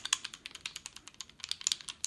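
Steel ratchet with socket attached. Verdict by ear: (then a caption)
Slightly loose. A steel quick-release 1/2 inch drive ratchet with a socket attached is shaken in a rattle test, giving a quick series of about seventeen light, bright metallic clicks with no low end. There is some movement inside: the socket stays on when pulled, but the fit seems slightly loose and less solid than two other ratchets.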